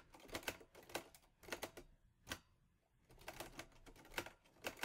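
Fingertips type steadily on the round keys of a mint-green Olivetti Lettera 22 portable typewriter with a metal body and paper loaded. Sharp, bright metallic clacks come in quick bursts separated by short pauses, each strike dying away almost at once.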